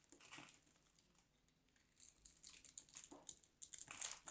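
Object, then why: Bar of soap. A small craft knife carves into a solid, dry, hand-sized white bar of soap, and crumbly flakes fall off. The result is a run of soft, bright, crinkly scraping and crunching bursts at an uneven pace. They start faint and grow louder and denser in the second half.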